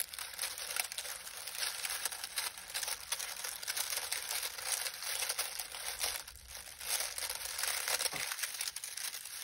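Both hands knead, press and crumple a large pile of dried lemon balm leaves on a grey towel with the fingertips. The result is a continuous, dense, crinkly rustling that is bright and high-pitched, with almost no low end.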